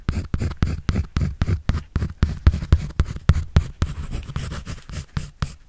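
A pencil draws and scratches on a white paper sketch pad held by hand. About 27 quick, dry strokes land at roughly four per second, each a short scratchy burst with a low papery thump and faint bright hiss. The strokes fade almost instantly between one another.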